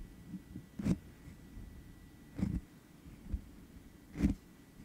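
Medium-length manicured nails and fingertips of both hands tap directly on the rounded, perforated metal mesh grille of an uncovered black USB condenser microphone with a hollow head. A few spaced, dull thumps ring out, low and boomy with a brief bright click, between quieter rustles and faint scratching against a steady faint hum.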